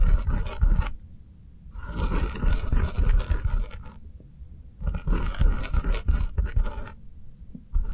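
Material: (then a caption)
Foam. Long nails tap fast on the top of a round, solid, avocado-shaped foam kitchen sponge with an avocado-print top and green sides, lying on a table. The tapping is a dense, soft, muffled patter with a scratchy edge, coming in quick runs broken by short, quieter pauses.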